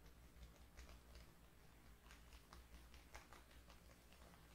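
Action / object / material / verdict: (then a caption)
tap / hardcover notebook with cardboard cover / cardboard / none. Long painted nails tap and scratch the front of a closed, book-sized hardcover paper notebook with a floral printed cardboard/paper cover lying on a wooden table. Soft, quick clicky taps and light scratches patter over a steady low hum, the bright tap transients dying away almost at once, and everything stays quiet throughout.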